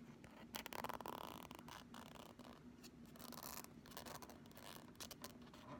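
A pink Flexi Ruler, a thin, solid, flexible plastic strip about 30 cm long, is scratched and rubbed with long nails and fingertips along its printed surface. The result is a quiet, continuous stream of dry, crackly scratching and rasping strokes with bright edges, over a faint steady low hum.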